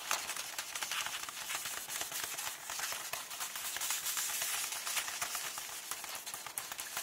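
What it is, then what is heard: Paper book pages. Fingertips with long nails tap and rub the printed paper pages of an open hardcover book showing the KULL text page. A steady, bright rustle of crisp scratching and light clicking taps fills the clip with almost no low end.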